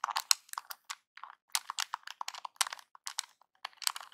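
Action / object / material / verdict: tap / small plastic game controller / plastic / none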